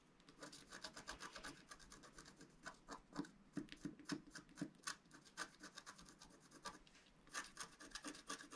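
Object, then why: Wax-coated scratch-art paper scratched with a wooden stylus. A pointed wooden stylus scratches lines near the bottom center of a thin black wax-coated scratch-art paper sheet, held flat and solid by one hand. Quiet, dry, raspy scrapes come in quick, irregular short strokes with a bright hiss. A few stronger strokes stand out, and each stroke stops almost at once with no ring.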